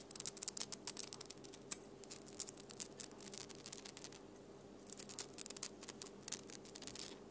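Long nails scratch and tap the glittery surface of a flat plastic snowflake ornament covered in silver glitter. Quick, bright clicking taps mix with gritty scratching, with a brief lull around the middle before the tapping picks up again, over a faint steady low hum.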